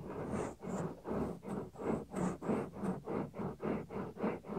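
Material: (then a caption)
Silicone. Fingertips rub and press the small, solid, white soft silicone ear cover of a 3Dio binaural microphone. About a dozen steady, rhythmic swells of muffled, low-pitched rubbing follow one another. Each swell fades quickly, with a faint brighter hiss at a few of the strokes.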